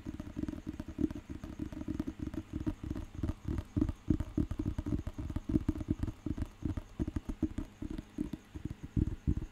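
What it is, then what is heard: Thick paper dictionary. Fingertips tap rapidly on a thick, solid paper dictionary, first on the cover and then along the back edge. The result is a dense run of short, dull, low-pitched thuds with almost no ring and little brightness.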